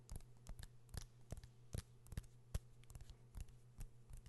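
Fingernails tap and scratch the metal back of a metal and glass smartphone held in both hands close to the mic. About seventeen sharp, short clicks land at an irregular pace, with bright tops over a steady low hum, and soft scratching fills the gaps between them.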